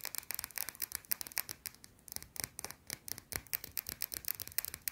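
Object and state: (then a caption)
Bar of soap scratched with fingernails. A small, round, flat, solid white bar of soap held in one hand is scratched fast with long blue-painted nails. The result is a quick, steady run of short, dry, bright scratching strokes with almost no low end, each dying away instantly.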